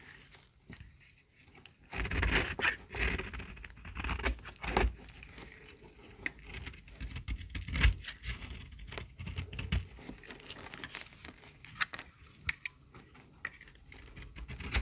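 A small, solid, pink bar of dry soap held in the hand is shaved with a metal utility-knife blade. Brittle flakes crackle and scrape off in quick, dry bursts, with stronger cuts around two seconds in and near eight seconds.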